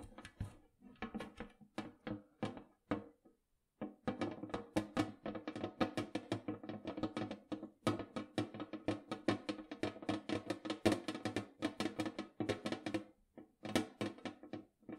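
Fingernails tap rapidly along the edge of the lid of a large, round, hollow metal cookie tin. The result is a steady stream of quick, light, hollow taps with a slight metallic ring and a mid-low tone around 305 Hz. The taps pause briefly just before the four-second mark and then continue densely.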